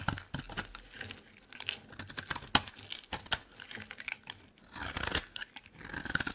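A metal blade scrapes a solid, dry green bar of soap. The sound is a series of crisp, bright scraping and crackling strokes with quick snaps and very little low end. Each bit dies away almost instantly.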